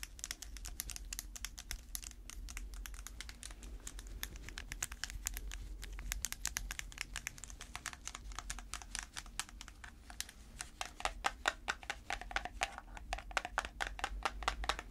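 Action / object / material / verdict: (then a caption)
tap / small clear plastic tub / plastic / none. A small round clear plastic tub full of dark slime is tapped on its lid and sides with long red fake nails on gloved hands. It makes a rapid, continuous stream of short, dry, bright clicks that die away almost instantly, over a steady low hum. The tapping grows slightly louder and sharper toward the end.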